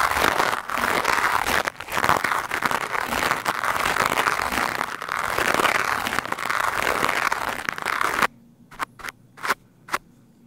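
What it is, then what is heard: Foam microphone windscreen being brushed. A green plastic scrub brush with white bristles, held in the hand, is rubbed fast and hard over a black foam microphone windscreen. It makes dense, continuous scratchy crackling centred around 1 kHz for about eight seconds. The sound then drops to near silence, broken by four short, separate brush strokes.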